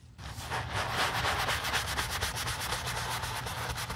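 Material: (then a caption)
Leather. A gloved hand scrubs foam into the flap of a black leather handbag resting on a towel, using a small wooden-handled brush. Steady rhythmic bristle strokes give a bright, hissing rubbing sound over a low rumble.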